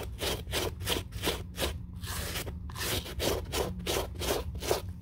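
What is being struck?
Suede leather sneaker.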